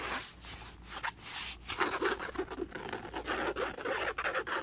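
Fingertips and nails scratch and rub across a flat, dark grey woven polyester or canvas laptop sleeve and along its seam. The result is a dry, papery rasping in quick uneven strokes, bright with grainy highs and almost no low end.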